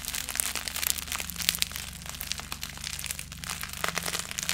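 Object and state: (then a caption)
Plastic bubble wrap. A clear plastic bubble wrap sheet with air-filled bubbles is held in both hands beside and in front of the microphone while fingertips squeeze, crinkle and pop it. Bright, dense crinkling is broken by sharp, quick pops and crackles over a faint steady low hum.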